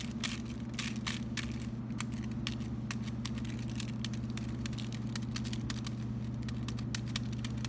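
A solid Lindt white chocolate bar wrapped in aluminum foil, taken out of its box and held in both hands, is tapped and scratched on the foil with fingertips and short nails. Quick, irregular crinkly taps and scratches give a bright, typing-like clicking over a steady low hum.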